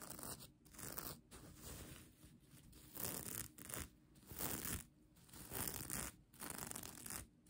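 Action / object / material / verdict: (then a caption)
scrape / plastic sequin blanket / plastic sequins / none. Long nails scratch across a bunched-up plastic sequin mermaid-tail blanket, producing bursts of dry, bright, crackly rustling. The strokes swell and fade in uneven waves, separated by brief quieter gaps.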